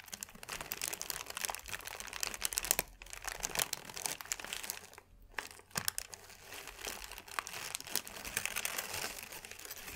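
A thin sheet of crumpled white paper is squeezed and twisted in both hands, giving a dense, continuous run of bright, dry crinkles and crackles. The crackles are sharp and die away almost instantly, with brief lulls around the third and fifth seconds before the crumpling picks up again.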